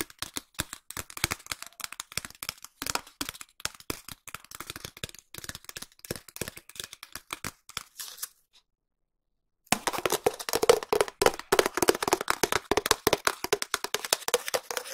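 A long, empty, hollow cardboard tube is tapped rapidly with long nails and fingertips, making dense, irregular, dry clicking taps with bright edges and almost no ring. After a short pause near the middle, the tapping resumes louder and fuller, with a hollow tone around 470 Hz.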